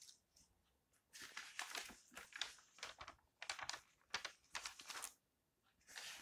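Fingertips turn the pages of an open glossy paper lifestyle magazine one after another, rustling the coated paper. Bright, crisp crinkling bursts with quick, dry decays come in clusters, separated by near-silent pauses. The overall level is soft, with almost no low end.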